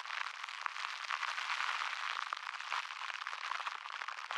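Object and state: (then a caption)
Plastic cling wrap. A small balled-up piece of thin plastic cling wrap is held in both hands close to the microphone and squeezed and rubbed with the fingertips. It makes a dense, continuous crinkling crackle of tiny sharp snaps. The sound is bright and papery, with no low end, and stays at a steady level throughout.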